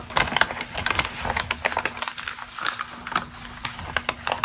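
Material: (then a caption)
Paper. Long green acrylic nails scratch and crinkle a single crumpled glossy Ralph Lauren magazine ad page held in both hands. A rapid, uneven stream of sharp, dry crackles and scratchy rustles, bright and crisp, each snapping off almost instantly over a faint steady low hum.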